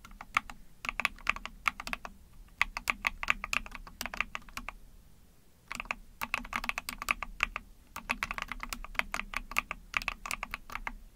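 Fast fingertip typing with long painted nails on a small 44-key gasket-mount mechanical keyboard with a hollow ABS plastic case, PC plate and pink/mauve plastic keycaps under pink backlight. Bursts of crisp, bright clicky keystrokes arrive in quick rapid runs, with a low hollow undertone and a brief pause near the middle.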